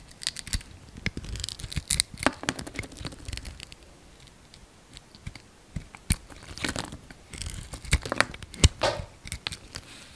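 A hand-sized solid oval soap bar, dark green on the outside and pale green inside, is shaved and cut with a utility-knife blade. Dense bursts of crisp, dry scraping and crunching crackle come in quick clusters, with a quieter stretch in the middle before the rhythm picks back up. Each slice is short and bright, and the sound dies away almost instantly.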